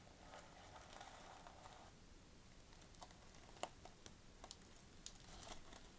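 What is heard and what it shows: Fingertips and nails scratch and tap the sequins on the sequin fabric cover of a flat notebook. A soft, scratchy rustle fills the first two seconds, then quieter brushing is broken by small, sharp, bright clicks and taps that stop instantly.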